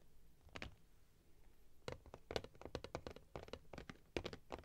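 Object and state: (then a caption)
Cardboard box tapped and scratched. A closed, printed cardboard box is held upright in both hands while thumbs and nails tap and scratch its front and sides. Quiet, dry, papery clicks and short scratches come in an irregular series, starting sparse and growing busier. Each tap dies out almost instantly.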